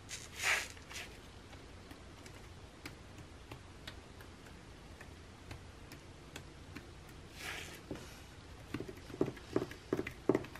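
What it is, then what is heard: Glossy paper magazine. Fingernails tap and scratch the printed pages of an open glossy paper catalog lying flat at the same perfume spread. A bright scratchy swipe opens the clip, followed by soft, irregular ticking taps over a quiet hiss. Another brushing scrape comes near the middle, and sharper, louder taps cluster toward the end.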